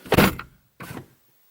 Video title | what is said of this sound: 2018 Lexus RC350 F Sport Review - Victor Car Review | It sounds solid, but it's not the best sounding door because, you know, this is a coupe. It's pillarless